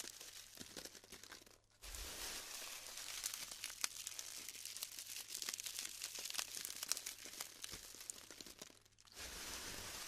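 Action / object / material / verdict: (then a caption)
scrape / glued styrofoam beads / styrofoam / none. Fingertips with pink-painted nails dig into a heap of small pastel styrofoam balls glued into crumbly clumps in a round black tray, squeezing and crumbling the dry foam and rubbing the loose beads. The result is a dense, bright crackling and crinkling with tearing snaps, broken by two brief near-silent pauses before the crumbling resumes.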